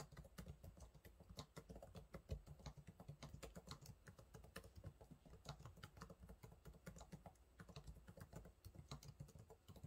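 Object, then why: Plastic laptop keyboard keys. Fingertips type rapidly on the low-profile plastic keys of a silver laptop keyboard. The result is a quiet, steady stream of short, dull taps with a soft low thump beneath faint bright clicks, each dying away almost at once.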